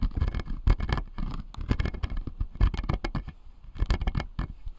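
Fingertips and nails tap and scratch the blue plastic molars on the lower jaw of a clear acrylic dental model. The result is a dense run of quick, dry taps with short scratchy strokes between them. Each tap is a muffled low thud with a brief bright click that dies away almost at once.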